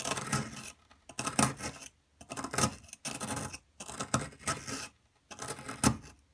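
A metal pick, held in a hand with long metallic nails, scrapes and digs into a solid blue plaster dig block with a hollowed carving area. Bursts of gritty, rasping scraping come in six bouts separated by short pauses, with broadband hiss reaching bright highs over a low body.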